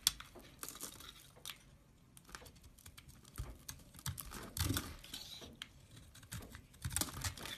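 A solid green soap bar, partly cut, is crumbled by fingers that break off flakes. Soft, dry crackling and crumbly snaps come in a quick irregular series, with a brighter burst near the start and a denser cluster toward the end. The flakes crumble and break away from the bar.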